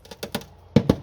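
Five dull, short taps land on the rotten, thin steel near the rear inner wheel arch of an Audi A4 1.8T Quattro, the metal so weak a hole went through it while being tapped. Each knock is a low, muffled thud with no ring, the last two the loudest.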